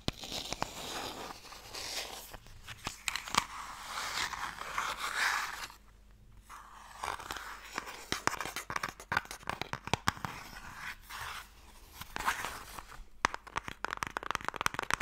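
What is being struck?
Small closed wooden box.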